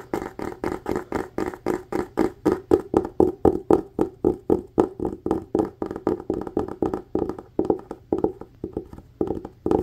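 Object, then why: Cloth-covered hardcover book. A solid red textured cloth hardcover book, held upright, is tapped fast on its cover with fingertips and nails. The taps are dry, quick-decaying thumps with a hollow midrange tone and faint bright clicky edges from the nails. They come in a rapid, uneven rhythm of about four bursts per second.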